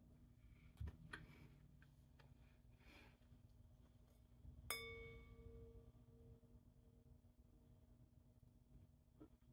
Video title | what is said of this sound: Breakfast, New Food For Spice, Baking Elf On A Shelf Cookies, Dinner and Conversation | you hear that full ring that comes out